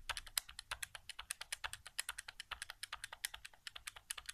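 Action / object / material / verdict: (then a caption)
tap / plastic game controller / plastic / none. Fingertips quickly tap the face buttons of a white, hollow plastic PS4 controller resting on carpet. About 39 rapid, dry, bright clicks follow one another in an uneven, typing-like stream. Each click stops almost instantly, with little low end.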